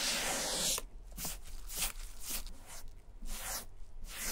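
A foam sponge dauber on a stick is rubbed across the flap of a vintage German leather satchel, spreading wet black dye. It opens with a steady, bright, hissing rub, then continues as repeated, brief, damp swishing strokes over a low background rumble.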